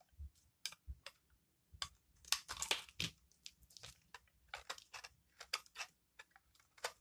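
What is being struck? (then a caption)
Bar of soap scraped with a metal blade. A metal blade scrapes and shaves thin curls off the orange face of a hand-sized, dry solid bar of soap painted in blue, orange and dark layers, held in one hand, while the shavings fall onto a wooden table. Quiet, bright, crisp crunching scrapes come in short, irregular bursts, thickening into a denser run of shaving in the middle before breaking back into separate strokes.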